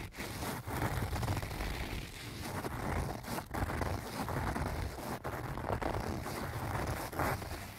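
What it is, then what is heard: Fabric cosmetic pouch. Fingernails of both hands scratch the front face of a small, soft-sided pink-and-white leaf-print canvas zip cosmetic pouch that appears to be filled. The result is a continuous, dense scratching rustle, heavy in the low end, with a few brief pauses in the strokes.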